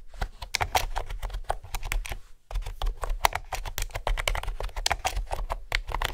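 Fingertips with nails type steadily on a hollow mint green plastic keyboard with round keys. Rapid, crisp, clicky keystrokes with a bright edge and a low thud underneath run throughout, with a brief pause near the middle before the typing resumes.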